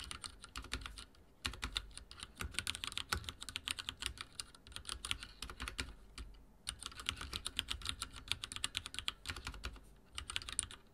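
Rapid typing taps from the fingertips of both hands on a full-size backlit mechanical keyboard with dark plastic keycaps and linear switches, resting on a wooden desk. The keystrokes come as dense bursts of short, bright clacks with a soft low thump underneath. Brief pauses fall around 1.3 and 6.3 seconds before the typing resumes.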